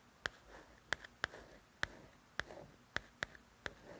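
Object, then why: Softcover book with glossy paper cover. Long nails tap, trace and scratch over the letters on the glossy paper cover of a softcover coloring book. Sharp, bright clicks ring near 1.7 kHz at uneven intervals, with soft scratchy rustles between them in a quiet, close setting.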